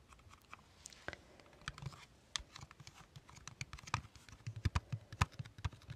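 A closed, hand-sized Too Faced chocolate-bar style eyeshadow palette in a thin, hollow, flat rectangular metal tin is held close and tapped with long red-painted nails. Quick, irregular taps give short, dry clicks with a low hollow knock and bright tips that stop at once with no ring. The taps start soft and grow louder and denser toward the end.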